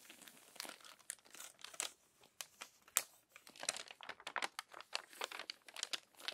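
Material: Paper.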